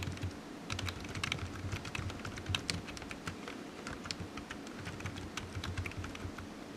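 Fingertips type steadily on the hollow keys of a low-profile black plastic computer keyboard resting on a desk mat, producing a quick stream of short, bright clicky taps. Each keystroke dies away almost instantly over a soft, low background rumble.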